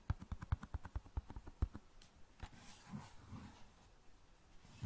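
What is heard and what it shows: A large flat cardboard box of long matches, held below the mic, is tapped with fingertips and nails in a quick run of about 13 dull, low, muffled thumps with almost no ring. This is followed by softer, faint scratching of nails across the cardboard.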